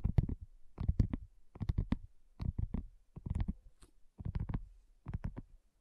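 Long nails and fingertips tap on a flat, round, pink dotted silicone coaster that is thin and solid. The result is soft, dull, low thuds in short quick clusters, separated by brief pauses, with almost no ring after each tap.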